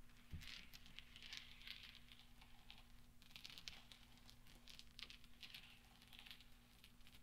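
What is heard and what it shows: Fingertips with long painted nails and rings sweep and roll small solid steel pachinko balls spread on black velvet. The result is dense, bright clinking and rattling in quick overlapping bursts, over a steady low hum.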